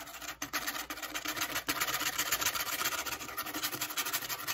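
Long acrylic fake nails scratch the face and corrugated edge of a flat brown corrugated cardboard piece as it is held up and turned. The sound is a dense, rapid, bright rasping scratch with little low end, pulsing unevenly at about four strokes per second.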